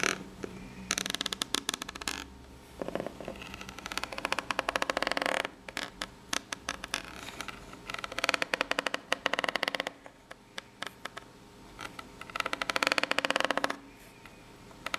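Long pink nail tips scratch quickly along the ribs of a ribbed corrugated cardboard box, probably empty and hollow, held at an angle. Bursts of rapid, bright, dry clicking and scraping alternate with quieter stretches of softer rubbing, over a faint low hum.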